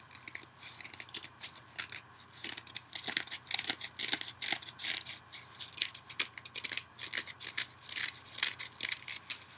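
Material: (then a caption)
Foam. A dual-layer kitchen sponge, yellow foam with a green scouring pad, is held over a bowl and scratched and picked at with fingernails, possibly being torn. Quick, irregular bursts of bright, crackly scraping come in dense clusters, with almost no low end beneath them. A faint, steady low hum sits in the background throughout.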